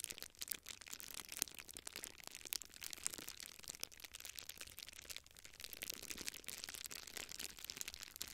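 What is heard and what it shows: A small clear plastic bubble wrap sheet is held in both hands close to a microphone while fingertips squeeze, rub and crinkle the bubbles. The result is a dense, continuous stream of bright, crisp crackles and sharp little snaps, with almost no low end.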